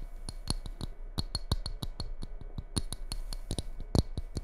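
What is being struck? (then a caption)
Ceramic mug. Long red-painted nails tap and scratch the outer wall and base of a small, empty red ceramic mug with a white snowflake pattern, held upside down. A rapid, uneven series of crisp clicky taps, each with a brief bright ring, mixes with faint scratching over a low background hum.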